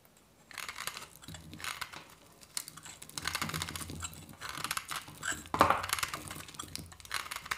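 A hand-held solid white dry soap bar is scraped and shaved with a metal knife blade, curling flakes off. The sound is a series of dry, crisp, crinkly scraping strokes in irregular bursts, bright and papery with little low end. One sharper, louder scrape stands out near the middle.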